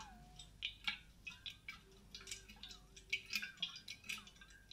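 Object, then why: Insulated stainless steel water bottle. Long dark-painted nails tap and scratch a large grey insulated stainless steel water bottle with a matte coating and a silver cap, hollow, held close to the mic. An irregular run of short, bright clicking taps mixes with thin scratchy swishes, each tap dying away almost at once with little low end.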